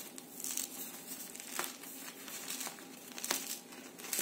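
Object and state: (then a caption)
Crispy baked bread crust. Fresh milk baguettes, just out of the oven after 15 minutes at 200 °C, are handled and pressed close to the microphone. The crust gives off bright, dry crackles and crinkles in irregular bursts, with several sharper snaps standing out. The crust is nicely crispy.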